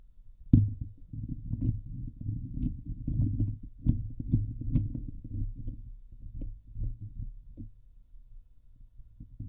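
Fingernails scratch the hollow steel wire-mesh grille of a Blue Yeti microphone head from the sides. This makes a dense, low, rumbling scrape with a throbbing texture, broken by sharp, bright ticks. It opens with a loud strike and gradually eases off before a final rise at the end.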